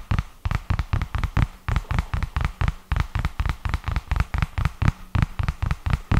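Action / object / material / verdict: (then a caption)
tap / paper notebook cover and edge / paper / none. A purple paper notebook, held tilted, is tapped and scratched along its edge and cover with the fingertips. About 25 quick, dull, low-pitched taps come in an irregular stream, each dying away almost at once, with faint scratching between them.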